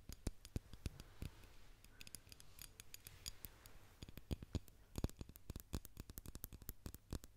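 A small, hollow white ceramic candle jar with wax inside, possibly opaque white glass, is held in one hand and tapped with fingernails. Dozens of rapid, sharp, bright clicks sound in uneven bursts, each dying away almost at once over a faint steady low hum.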